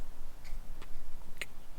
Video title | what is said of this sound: S2:E1 CREATE ORIGINALS FRAMES - worth the hype? #aggressiveinline #rollerblading #inlineskating | the sound reminds me of the Fisher Price gates with the little hard plastic wheels